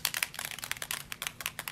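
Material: Metal.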